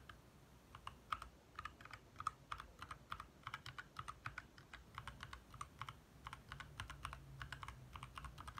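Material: Plastic.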